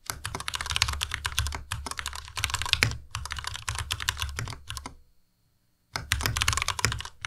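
Fingertips of both hands type continuously on a compact white Ducky Miya Pro mechanical keyboard with white plastic keycaps and Cherry MX Red switches. Rapid, bright plastic clacks ride over a low thumpy bottom-out. The typing pauses into near silence for just under a second, then resumes.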